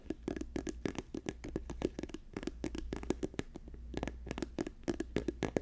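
Fingertips and nails tap fast on a hand-sized, apparently filled orange and white soft plastic lotion or sunscreen tube held in the hands. The rapid, uneven taps are short and dry, with a muted mid-range thud and bright clicky edges that stop instantly without ringing. A steady low hum runs underneath throughout.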